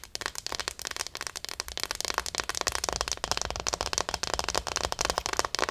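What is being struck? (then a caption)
Small plastic acupuncture figure. Long nails tap and scratch the back of a small, likely hollow plastic acupuncture model doll. A steady run of quick, dry, bright clicks and scratchy rasps follows one another closely with almost no ring. The overall sound is a busy, crackling patter.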